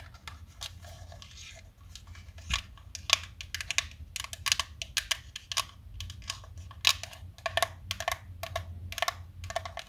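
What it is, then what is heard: Plastic tub of chalk sticks. Long nails tap quickly on the sides of a small black plastic food tub full of colored chalk sticks, held in both hands, while the chalk rattles inside. The result is a steady run of sharp, bright, clicky taps that die away at once, over a faint low hum.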